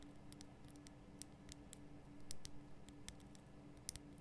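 Long nails and fingertips tap the sides of a large, rough, glowing pink Himalayan rock salt lamp made from a solid salt block. Quiet, scattered, very short bright clicks sit over a steady low hum, with a few slightly louder taps standing out.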